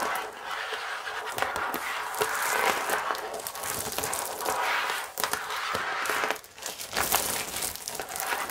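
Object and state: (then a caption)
Plastic-wrapped cardboard box. Long acrylic nails and fingertips tap, scratch and crinkle the clear plastic shrink wrap still sealed over a large, flat cardboard chocolate box held up close to the mic. The result is a dense, steady crackle of crinkling film with sharp taps and scrapes, bright and mid-heavy with almost no low end. It briefly dips quieter before resuming.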